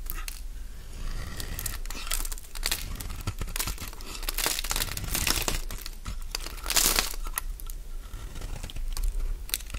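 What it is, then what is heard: Bar of soap shaved with a blade. A metal blade scrapes and shaves crunchy curls off the surface of a solid oval cream-white Fa soap bar held in the palm. Dense, bright crinkling crunches and scraping strokes run continuously, with louder bursts along the way and a low steady rumble underneath.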